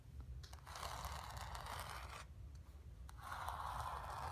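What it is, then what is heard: Painted canvas. Long nails and fingertips scratch and rub across a painted stretched canvas resting on carpet. The result is a dry, papery scraping hiss in two sustained passes separated by a brief pause, with a low steady rumble underneath throughout.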